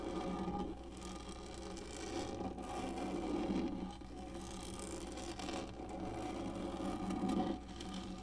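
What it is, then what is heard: Textured plastic lap tray being scratched. Long nails on both hands scratch across the textured top of a black, hollow plastic lap tray. The result is a steady, dry, rasping scrape that swells and eases in slow waves, with a low hollow drone beneath the brighter scratchy texture.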